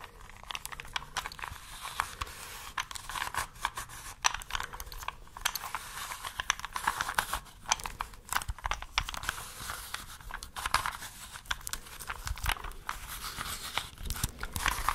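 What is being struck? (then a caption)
Plastic puzzle cube. A small plastic 3x3 puzzle cube with colored stickers, held in both hands, is tapped and scratched with long nails while its layers are twisted. This makes a dense run of quick, dry clicks, crinkly scratching and ratcheting clacks, with a bright, crisp edge and a midrange focus around 1 kHz.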